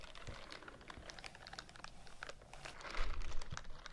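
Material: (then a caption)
Silicone. A white silicone bristle scrubbing glove has its bristles scratched with fingernails and is rubbed close to the microphone. The result is a quiet, continuous stream of quick, dry, clicky scratching ticks with a bright crackle, growing louder and rougher toward the end.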